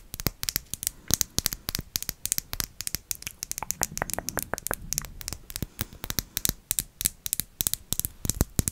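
Long acrylic nails tap rapidly on a small round glass jar or bottle with a greenish tint, held close to the microphone, its contents not visible. The taps are sharp, bright, high-pitched clicks that stop almost instantly, coming in quick irregular bursts throughout.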